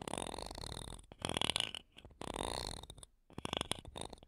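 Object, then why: Metal mesh microphone grille scratched with wooden toothpicks. Wooden toothpicks held between long nails scratch across the metal mesh tops of two small, solid silver condenser microphones with metal mesh grilles. The result is a close, bright, rasping scratch that comes in several dense bursts separated by short quiet gaps.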